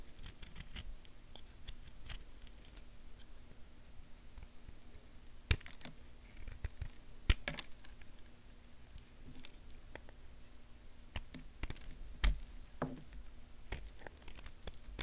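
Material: Soap.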